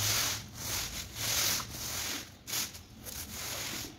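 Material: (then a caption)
Woven textile. A long-handled push broom with yellow bristles scrubs back and forth across the wet, muddy surface of a large flat woven rug lying soaked on a stone floor. Repeated bright, hissing scrub strokes swell and fade in an uneven rhythm, mostly high-pitched with little low end.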